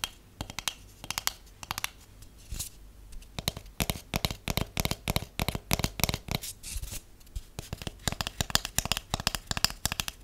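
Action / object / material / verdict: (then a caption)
tap / cardboard tube tapped with fingernails / cardboard / none. A large, hollow, empty white cardboard tube is tapped with long acrylic nails and natural nails. The result is a dense run of quick, dry clicks and taps with bright high edges and a soft hollow thump beneath. Each tap dies away almost instantly, with brief pauses between flurries.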